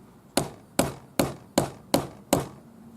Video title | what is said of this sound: turquoise nugget ring pt 3 | tap it until I can hear it hit the bottom